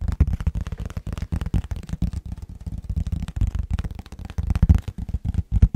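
An empty, medium-sized, hollow, transparent rectangular plastic food container with a lid is held in both hands and tapped and scratched with fingertips and nails. The result is a rapid, continuous run of dull, low, hollow taps mixed with soft scratching, each tap dying away almost instantly.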